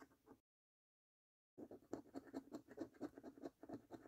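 A coin edge scratches the scratch-off coating on the games and order-number panels of a thin paper £1 Million Snack Stack National Lottery scratch card resting on a dark table. A brief patch of soft scratching stops for about a second of silence, then a quick, uneven run of dry, rasping strokes follows, each short and without ring.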